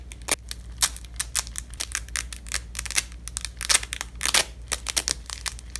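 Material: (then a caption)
Nylon. A long, thin purple nylon hook-and-loop (velcro) strip, folded onto itself and held in black nitrile-gloved fingertips over red cloth, is repeatedly pressed together and ripped apart. Each rip gives a short, bright, crackling tearing burst, coming in quick uneven succession over a faint steady low hum.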